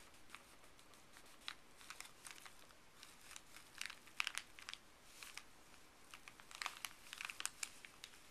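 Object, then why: Thin paper bag. Fuzzy gloved fingers rub and crinkle a folded, thin printed paper pharmacy bag. Soft, bright crinkling and quick crackles come in uneven bursts over a faint, steady hiss. The louder clusters fall in the middle and near the end.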